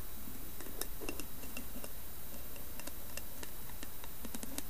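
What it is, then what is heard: Carved wooden lidded bowl. Long nails tap and scratch the carved top of a round, hollow, carved wooden lidded bowl with a brass knob. The result is a string of light, dry clicks and scratches with bright, crisp edges. They sit over a steady low hum at a fairly even, quiet level.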